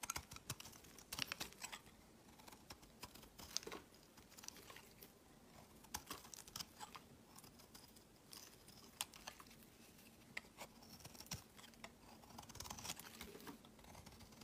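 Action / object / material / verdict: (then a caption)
scrape / bar soap carved with a metal knife / soap / none. A solid cream bar soap held in the hand is carved with a utility knife, the metal blade scraping and shaving thin soap curls that peel off onto a pile of shavings. Quiet, bright, crisp scratches and short dry clicks come in a dense, irregular stream over a faint steady low hum.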